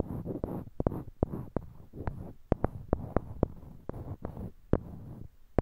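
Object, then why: Small wooden blocks. Small, solid, light-colored wooden cubes, held in pairs in each hand near a binaural mic, are clicked with the fingertips and knocked one against another. The result is a series of sharp, dry, quickly fading clicks and knocks, with soft low rustling handling sounds between them.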